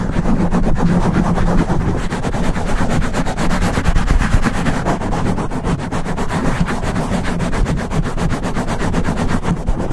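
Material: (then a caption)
Foam. Fingertips of both hands scratch and rub fast along the sides of a black foam microphone windscreen. The result is a dense, continuous stream of rapid scratchy friction over a heavy low rumble, with little high brightness, holding steady for the whole clip.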